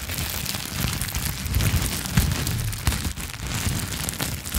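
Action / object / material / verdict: scrape / plastic bubble wrap / plastic / none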